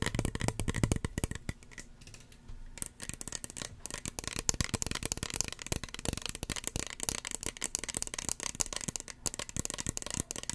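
Long fingernails tap rapidly on a small, hollow red plastic spray bottle with a white plastic cap. The result is a dense stream of short, dry, clicky taps with a light hollow tone and almost no ring, easing off briefly around the two-second mark before continuing steadily.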